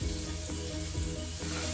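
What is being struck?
Nothing is struck.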